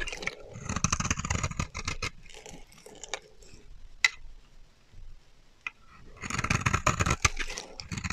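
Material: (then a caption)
Soap. A black-handled blade scrapes and carves a solid beige rectangular bar of dry soap held in the hand, shaving off pale powdery curls. Dense, dry, crackly scraping with a bright hiss over a low rumble fills the start, fades to a quieter stretch broken by a couple of sharp clicks, then returns at full strength near the end.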